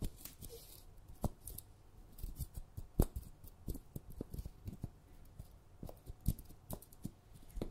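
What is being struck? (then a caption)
Glass jar filled with sugar. Long red nails scratch and tap around the lid and rim of a glass jar full of sugar, held and seen from above. Sharp, dry clicks and light scrapes land at an irregular pace, each dying away almost instantly, with a soft low rumble underneath.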